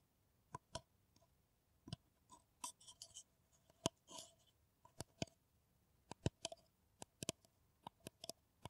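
An empty, hollow brown paper coffee cup with a blue bottle logo is tapped with long nails in about twenty separate, irregular taps. Each tap is a short, dry, bright click with a faint hollow ring, and a softer scraping brush is heard once near the middle against a quiet background.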